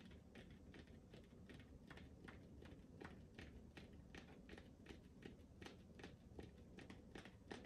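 Fingertips tap and lightly scratch a smooth, hollow pink rubber ball held close to the microphone. Soft, irregular tapping clicks repeat at an uneven pace over a quiet, low, rumbly background, and each tap dies away quickly.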